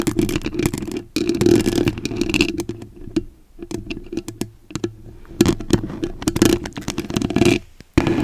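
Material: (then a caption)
Foam. A white foam microphone windscreen is scratched with the tips of long acrylic nails. The result is a dense, rough, crackling rasp with a boomy low-mid body, coming in fast bursts broken by brief near-silent pauses.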